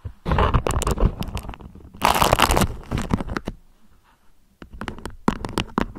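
Long nails scratch and pinch a thin beige beeswax-coated cotton food wrap draped into a peak. The crinkly, waxy fabric gives dense bursts of crackling and scratching, with a short quiet pause before sharper crinkles resume.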